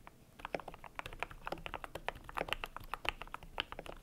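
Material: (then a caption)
PBT plastic. Fingertips type steadily on a cream compact mechanical keyboard with PBT plastic keycaps. The result is a quick run of short, crisp clacks that stop almost instantly, with a bright click near 2.7 kHz over a soft, low thud.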